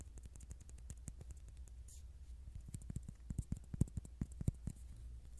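A small, flat, round white plastic disc, the base of a Pop Mart SpongeBob Picnic figure printed "SpongeBob" in red, is held in the fingers near the microphone and tapped and scratched with fingertips and short nails. Quick, irregular, dry clicks and scratchy ticks die away almost instantly over a steady low hum, growing a little louder and denser toward the end.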